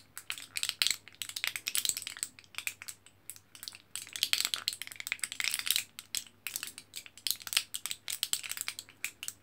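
A thin, flat orange printed aluminium foil back of an L-carnitine capsule blister pack, with sealed capsule pockets, is held in the hand and scratched and tapped by fingertips and nails on the foil. Rapid, dense bursts of bright, crinkly rustling and sharp ticks come through with very short decay. The sound is almost entirely high-pitched, with a faint low hum underneath.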